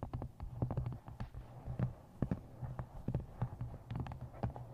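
Long painted nails and fingertips tap the front of an upright paperback novel with a glossy card cover and a solid paper block. The result is a quick, uneven run of short, dull, low thuds with brief brighter clicks and almost no ring.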